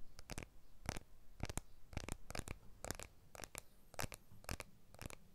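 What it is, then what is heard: Smartphone with glass back, tapped. A blue iPhone 12 with a glass back and aluminium frame is held horizontally in both hands while fingertips and nails tap and scratch the back and frame. The result is a quiet, uneven run of short, dry clicks and light scratches, each with a soft low thump beneath a bright edge and no ring after.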